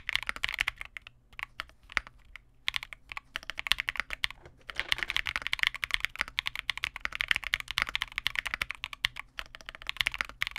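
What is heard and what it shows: Continuous two-handed fingertip typing on a Vega65 custom 65% mechanical keyboard with re-lubed Cobalt switches, white plastic keycaps and a dark case. Rapid, bright plastic clacks with very short decay come in dense bursts, with brief pauses near 1, 2.5 and 4.5 seconds.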